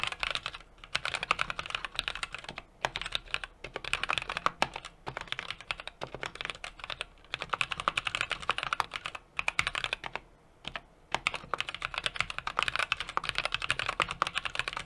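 A small 60% mechanical keyboard with an aluminum case, brass plate and plastic keycaps is typed on continuously by fingertips. It makes a steady stream of crisp, bright clicks with brief pauses around 0.7, 2.7, 7 and 10.5 seconds.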